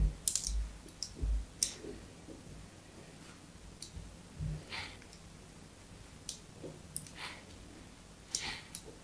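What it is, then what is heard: Bar of soap being carved. A thin metal blade scores diagonal cuts into a solid bar of white soap held in the hand. Crisp, bright scraping clicks come in an irregular series with short pauses, each ending quickly over a low background rumble.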